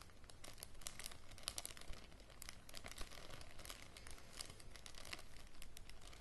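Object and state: Thin plastic bag crinkled.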